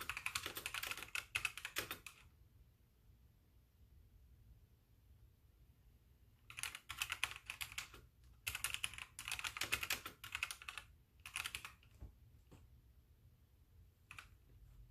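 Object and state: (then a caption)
Plastic mechanical keyboard. Fingertips with painted nails type with both hands on a full-size backlit mechanical keyboard with white plastic keycaps, giving fast, bright, clicky keystrokes with a very short ring. A burst of typing is followed by a near-silent pause of about four seconds, then several more runs of rapid typing and a few isolated key taps near the end.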